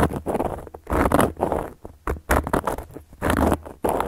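A round, flat, solid cork coaster is tapped and scratched with long gold metal claw nails. The result is a series of dry, rasping scratches and soft taps in uneven bursts, with short gaps between them. The sound is muffled and low-mid heavy and dies away almost instantly with no ring.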